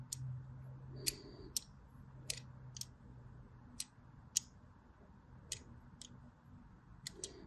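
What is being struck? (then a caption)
Solid bar of soap. A solid white embossed bar of soap, held horizontally, has diagonal grooves cut into it with a blade. There are 11 short, sharp, bright scratching clicks, spread across a quiet background with a faint low hum.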